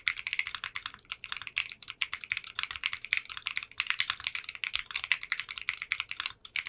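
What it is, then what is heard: Mechanical keyboard with clear polycarbonate keycaps. A 60% custom mechanical keyboard with translucent pink polycarbonate keycaps in a clear case is typed on rapidly with fingertips and short nails. The result is a dense stream of short, bright clacks centred around 2 kHz with high sparkle above and almost no low end. Each keystroke dies away almost instantly.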